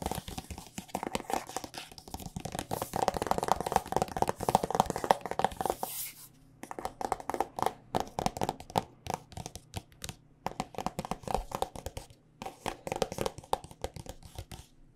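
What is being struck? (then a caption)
Plastic squeeze tube filled with lotion. A white and pink plastic body butter squeeze tube filled with lotion is tapped along its body with long, dark nails. Dense, rapid clicky taps with a crinkly, crackling edge fill the first six seconds. Then come quieter bursts of quick taps separated by short pauses.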